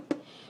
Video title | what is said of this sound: Artisan Bread | you tap the bread like this you're going to hear the hollow sound this means the bread is done